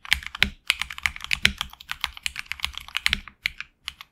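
Fingertips of both hands type on a HyperX Alloy Origins Core, a tenkeyless mechanical keyboard with HX Red switches and PBT plastic keycaps over an anodized aluminum plate in a hollow case. A rapid, uneven run of short, crisp keystroke clacks, bright and high, dies away almost instantly with brief pauses between bursts.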